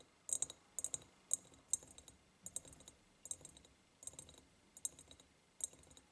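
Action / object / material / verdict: tap / ribbed glass jar tapped with fingernails / glass / none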